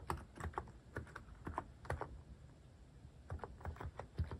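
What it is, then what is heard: Plastic mechanical keyboard. Fingertips type on a Hanmumu mechanical keyboard fitted with cat-shaped plastic keycaps, producing quick, dry clacks with a low, thocky body. Bursts of keystrokes fill the first two seconds, then a brief lull passes before the typing resumes at a similar pace.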